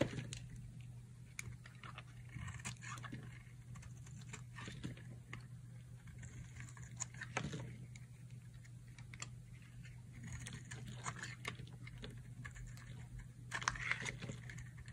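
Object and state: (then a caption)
Dry soap bar being carved. A solid rectangular green bar of dry soap, held in one hand, has its edge carved and scraped with a metal utility knife blade, so curls and shavings fall away. Many short, dry, crunchy scrapes and scratches follow one another over a steady low hum.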